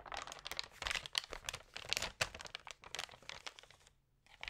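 An open glossy food magazine lies flat on a yellow table while its thin, lightly water-sprayed pages are rubbed and scratched with long painted nails and fingertips, and one page is turned. Dense, bright crinkling and scratching bursts follow one another with brief gaps, then a short quiet pause before a final rustle.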